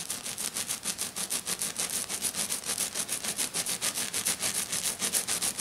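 Short dark-painted fingernails on both hands scratch fast across a thin, solid, flat silver glitter-coated sheet lying on a table. The result is 23 quick, evenly spaced, bright scratchy rasps, mostly high hiss with almost no low end.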